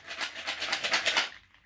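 A finished sensory bottle, a plastic bottle filled with small loose household items, is shaken. Its loose contents give a bright, dry rattle in a string of quick bursts, which fade out after about 1.3 seconds.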